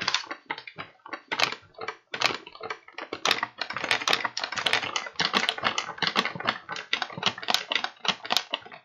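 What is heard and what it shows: An empty, hollow kraft paper bag with blue print and paper handles is held in both hands while fingertips tap and crinkle the paper. Quick, irregular bursts of crisp, dry crackling and tapping follow one another, bright and papery with almost no low end. Each burst stops short with no ring.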